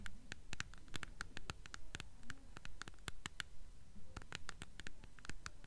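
A paperback copy of *The Golden Compass*, held upright with its spine facing out, is tapped and scratched along its paper spine with long nails. The sound is a quick, steady run of dry, clicky taps mixed with soft scratching, with no ring after each tap. The book is solid.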